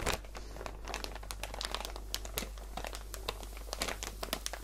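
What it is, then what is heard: Plastic bag of cotton balls. A clear plastic packaging bag filled with about 100 cotton balls, soft and full, is held in both hands with long painted nails and squeezed and crinkled. Dense, continuous plastic crinkling with bright, sharp crackles rides over a steady low hum.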